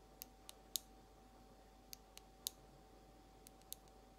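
Long almond acrylic nails tap a small frosted glass nail polish bottle with a white plastic cap, held sideways. Eight short, bright, high clicks come at an unhurried, uneven pace, each dying away almost instantly. A faint steady tone hums quietly underneath.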